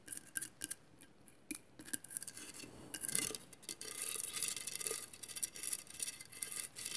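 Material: Glass.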